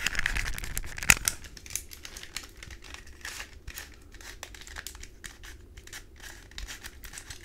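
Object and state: Plastic puzzle cube.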